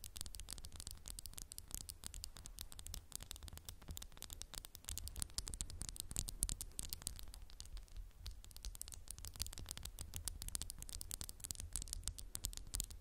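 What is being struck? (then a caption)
Glass candle jar. Fingernails tap rapidly and continuously on a candle in a textured glass jar. The taps are quick, dry clicks with a bright, high edge and almost no ring. A steady low hum sits underneath.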